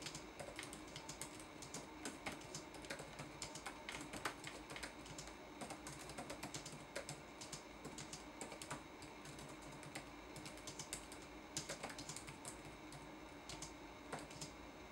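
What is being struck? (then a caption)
Plastic laptop keyboard keys. Fingertips type on a red-backlit laptop keyboard with plastic keys, making a quiet, steady stream of short, bright clicks and taps. Each keystroke dies away almost at once over a faint background hiss, with a few slightly louder clacks scattered through the run.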